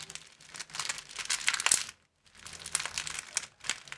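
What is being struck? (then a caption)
Thin clear plastic film sleeve. An empty, thin clear plastic film sleeve is held in both hands and bent into a V shape and back, making dense, bright crinkling and crackling. The crinkling rises to sharp peaks, stops for a brief silence near the middle, then resumes in quicker, scattered crackles.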